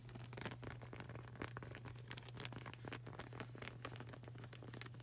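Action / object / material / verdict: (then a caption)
tap / rubber flip-flop sole / rubber / none. Long burgundy nails tap and scratch fast on the dark grey textured rubber sole of a flip-flop with a flag-print edge, solid and flexible and held in both hands. A dense, quiet run of short, dry clicks and scratchy rasps reaches up into bright highs over a steady low hum.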